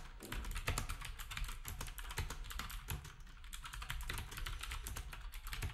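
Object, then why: Plastic keyboard with round keycaps. Fingertips of both hands type steadily on a black typewriter-style retro keyboard with round plastic keycaps. Dense, rapid clicks of plastic keys blend into a continuous patter, each tap carrying bright clacks over a low, hollow thump.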